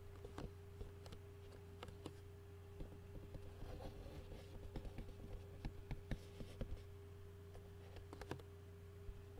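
A clear plastic takeout food container lid is held up and tapped with the fingertips of both hands. It gives a quiet, irregular run of short, light plastic taps and clicks. A steady low hum and a faint constant tone run underneath.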